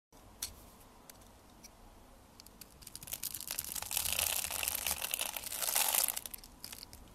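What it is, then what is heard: Bar of soap being cut. A metal blade scrapes and cuts into a hand-held, solid blue and white striped soap bar that is pre-scored into a grid, flaking off small cubes. Faint, sparse ticks and crackles build into dense, bright, crunchy scraping that peaks in the middle and end of the clip. The sound then eases back to a few light crackles.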